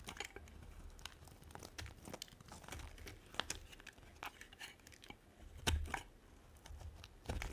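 A small metal blade repeatedly shaves and scratches curls off the edge of a solid, dry, hand-sized white soap bar held in one hand with yellow nails. The result is a steady run of dry, crisp scraping and crackling rasps with bright edges, some strokes louder and sharper than the rest, over a low background rumble.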